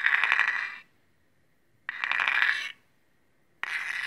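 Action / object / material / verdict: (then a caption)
scrape / steel chef's knife drawn along a steel honing rod / steel / none. A large steel chef's knife with a dark blade and metal handle, held in one hand, has its edge drawn along a steel honing rod. Three bright, gritty metallic scrapes with a steady ringing tone near 2 kHz, each lasting under a second and separated by short pauses where a faint ring lingers; the last scrape is cut off.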